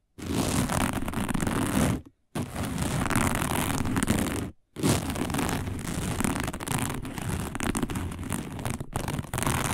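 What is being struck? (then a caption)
Woven fiber placemat. Long nails of both hands scratch fast across a round, dark, coiled woven fiber placemat, making a dense, continuous rasping scratch with a heavy low rumble and a bright hiss on top. The scratching stops briefly at about 2 seconds and again around 4.6 seconds, dips for an instant near 9 seconds, and then carries on to the end.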